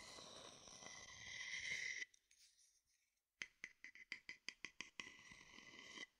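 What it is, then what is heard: Wooden bowl stirred and scraped with a stick. A wooden stick is stirred and scraped around inside a small, hollow, empty wooden bowl held low beside the mic, making a bright, continuous scraping with a ringing tone near 2 kHz. After a brief near-silence, the stick makes a run of quick, sharp taps inside the bowl that die away almost instantly. A final short scrape follows before it stops.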